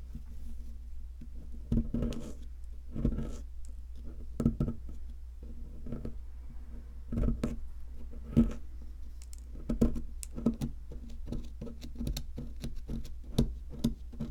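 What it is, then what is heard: Plaster fossil excavation block. A wooden stick, held in long red-nailed fingers, scrapes and picks at a solid white, palm-sized plaster block shaped like an ammonite from a fossil dig kit. Short, dry scratches and taps with bright crackly edges come in irregular bursts over a steady low hum. Plaster dust piles up as the stick works the block.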